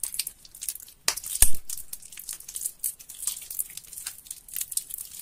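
Fingers squeeze and tear a large mass of mushy, water-soaked soap in a sink with yellow soapy water. The result is a steady run of soft, wet, crackling tears and crinkles, mostly high and bright. One louder squelching burst stands out early on.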